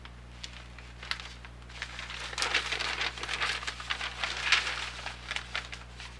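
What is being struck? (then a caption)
Newsprint paper flyer. A large, thin, glossy-printed newsprint weekly grocery flyer is held in both hands over a desk, its pages turned and crinkled with fingertips and painted nails. Soft, bright paper rustling and crackly crinkling swells to a busier, louder stretch in the middle before tapering off, over a faint steady low hum.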